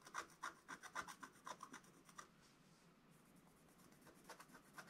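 A wooden stylus scratches the dog's body on a flat, black, wax-coated scratch-art paper page. A quick series of dry, raspy scratching strokes with a bright edge runs for about two seconds, then pauses. The strokes resume more softly toward the end.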